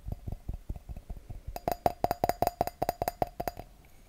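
Fingertips and nails tap and scratch the bowl of an empty clear wine glass held over a microphone. Soft, dull low taps come first, then a quick, uneven run of brighter clinks, each with a brief tone near 700 Hz and crisp high edges that die away almost at once.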